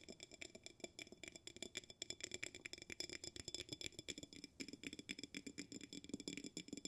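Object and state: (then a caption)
Glass jar with bamboo lid. A glass jar with a bamboo lid is held in the hands while a fingertip taps the bamboo lid and nails tap the glass. The result is a rapid, continuous stream of short, crisp taps with bright, glassy ringing tones around 2.3 kHz and higher, interleaved with softer, duller knocks.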